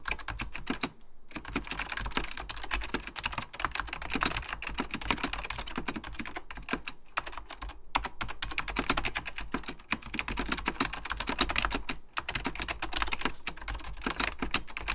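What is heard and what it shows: Fingertips of both hands type steadily on a full-size beige plastic Apple Extended Keyboard II with mechanical key switches, under purple lighting. It produces a fast, continuous stream of crisp, clacky keystrokes with short, dry decays and brief pauses between bursts. The sound is bright, with a tonal emphasis near 3.8 kHz and a soft low thump beneath each press.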